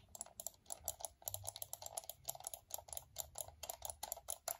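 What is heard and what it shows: A fingertip clicks the buttons of a small, hollow, black plastic wired computer mouse held close. It makes a quick, steady run of quiet, sharp clicks, each with a bright snap over a hollow plastic knock that dies away almost at once.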